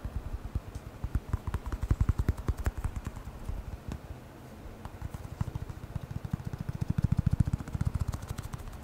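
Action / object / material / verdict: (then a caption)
tap / hollow rubber air blower bulb / rubber / none. A small black hollow rubber lens air blower bulb with a blue nozzle is held in one hand and tapped quickly with the fingertips of the other. About 34 soft, dull, low thuds come in an uneven stream with a brief quieter lull near the middle. Each tap dies away at once with no ring.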